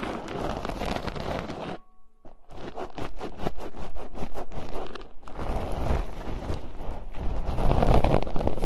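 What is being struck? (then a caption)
Metal mesh microphone grille. Long nails scratch and tap on two bare, hollow metal mesh microphone grilles, producing crunchy, crackling scratches that are dense and low-heavy. A brief near-silence with a faint steady tone interrupts the scratching, which then resumes as a run of quick, irregular taps before swelling back into continuous scraping.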